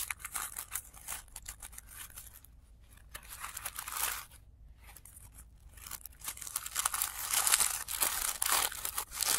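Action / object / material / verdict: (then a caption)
scrape / tissue paper flower / tissue paper / none. Fingertips crinkle and fold the thin, flat petal layers of a blue tissue paper flower, heard played in reverse. Dense, bright papery crinkles and tearing-like rustles come in bursts, with brief quieter gaps near the middle, and grow louder and busier toward the end.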